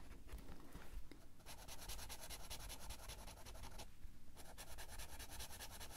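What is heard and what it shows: A blue felt-tip marker rubs quickly back and forth over the page of an open paper coloring book on a table, filling in colour. A quiet, steady, scratchy rubbing runs throughout as rapid strokes, with bright hiss and a low rumble underneath, easing briefly near the four-second mark before it resumes.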